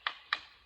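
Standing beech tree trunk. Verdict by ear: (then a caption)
Solid. Two sharp taps of a stick on the trunk of a standing beech tree with hard, smooth bark, each a bright, short knock centered around 1.8 kHz that dies away almost instantly. The dry, tight sound shows the tree is solid, not hollow, which would ring like a drum or wooden barrel.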